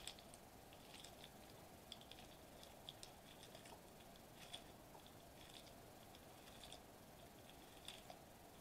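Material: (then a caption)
Metallized plastic. Fingertips press and tap softly on a flat silver metallized plastic bubble wrap sheet lying on a white table. Quiet, scattered crinkly ticks and soft pops stand out from a low, steady hiss. The short, bright clicks center near 3.5 kHz and fade almost instantly.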